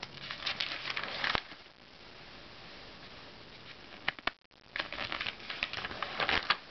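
Fingers quickly flip and riffle the thin glossy pages of an open Self magazine, then smooth them flat with the fingertips. Bright, crisp crinkling flutters open the clip, ease into a soft, steady rustle, and are broken by a couple of sharp paper snaps before another burst of quick, crackly page turns.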